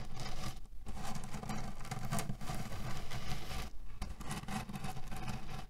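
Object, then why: Cotton cushion filled with cherry pits. Flat hands press and rub a cotton cushion filled with cherry pits, making a steady, low, muffled rustling crunch of shifting pits. The sound continues almost without a break, easing briefly twice before the rubbing picks up again.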